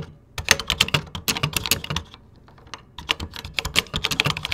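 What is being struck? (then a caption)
Plastic computer keyboard. Fingertips type rapidly across the beige plastic keys of a 1986 Tandy Color Computer 2 keyboard, with a microphone sitting untouched in the background. Bursts of short, bright plastic clicks and clacks with a light low thump under each keystroke are broken by a quieter pause of sparse taps in the middle, before the fast typing resumes.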